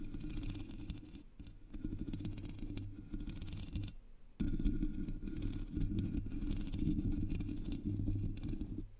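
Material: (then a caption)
Metal mesh. Long nails scratch the sides of the black hollow metal mesh grille on a Blue Yeti microphone, then both hands scratch its top, making a dense, rustling scrape with a heavy low rumble and brief quiet gaps. The scratching grows louder and fuller after a pause near the midpoint and continues steadily to the end.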